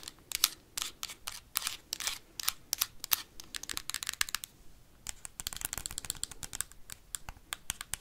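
Metal paperclips worn on the fingertips rapidly tap and scratch the hard plastic back shell of a Nintendo Switch console. Dense bursts of sharp, bright clicks and scraping ticks pile up with almost no ring. A brief pause falls near the fifth second before the flurry resumes.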